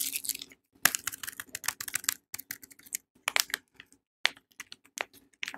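A palm-sized, solid Savannah soap bar in a yellow printed paper wrapper is held and tapped with long painted nails, while an unwrapped soap lies nearby untouched. Quick, bright, dry clicks and crinkly taps come in irregular bursts with short silent gaps, each tap dying away almost instantly.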